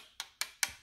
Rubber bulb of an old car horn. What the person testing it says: Sounds like plastic. Yep. That's what happens to the rubber.